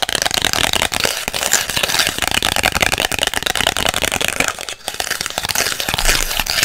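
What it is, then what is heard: Instant photo print, tapped and scratched. Long white acrylic nails tap and scratch the surface of a small, thin instant polaroid print made of plastic-coated photo paper, with a white frame and a purple image, held in both hands. The sound is a dense, steady stream of crisp, bright clicks and crackly scratching with very little low end and almost no ring after each tap.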